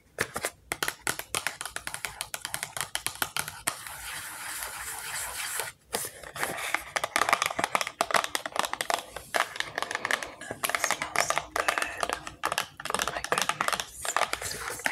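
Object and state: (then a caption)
Small cardboard box. Long acrylic nails tap and scratch the sides of a small printed cardboard product box, likely empty or light. Rapid, crisp clicks mix with dry, bright scratching, with a brief steadier scraping stretch near the middle. Each tap dies away almost instantly, with no low-end body.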